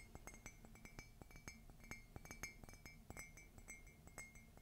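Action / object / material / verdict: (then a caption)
tap / ceramic coffee mug / ceramic / none. A white glossy ceramic coffee mug printed "Meet me under the Mistletoe," hollow and empty, is held up and tapped on its side with long fingernails. The result is a quick, irregular run of light clinking taps, each ringing briefly around 2.1 kHz with bright overtones above a low background hum.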